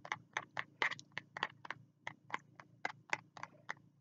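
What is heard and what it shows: Fingertips tap and scratch the cover of a small spiral notebook with a green cover held at the chest. About 17 short, dry, bright taps come in a quick, fairly even rhythm, each dying away almost at once over a faint low hum.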